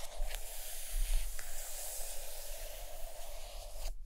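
Long acrylic nails tap and scratch the cover of a large, solid, closed purple hardcover book lying on a carpet. A steady, soft, scratchy rasp runs throughout, broken by a few faint, brief taps. The sound cuts off abruptly at the end.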